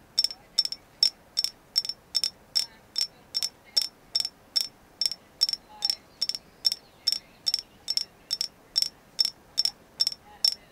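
Further tapping on a carved agate moon goddess figure, confirmed to be agate: 28 short, crisp taps in a steady rhythm of about two and a half per second. Each tap is a bright, high click that dies away almost instantly, with no low-end body, over near silence.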